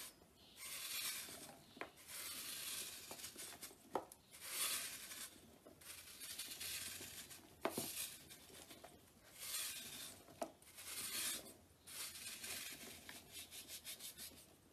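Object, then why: Soap block scraped with a blade. A blade scrapes a large, solid, dried, chalky pale green soap block held in the hand over a tub, and crumbs and powder fall away. Quiet, dry, bright rasping strokes follow one another with brief pauses, broken by a few sharp clicks as the blade catches.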